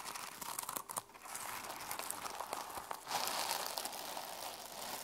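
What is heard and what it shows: Long nails scratch across and flip the plastic flip sequins on the cover of a closed sequin-covered journal resting on a table. The result is a dense, bright, crinkly rasp of quick clicks with almost no low end, swelling louder in the second half.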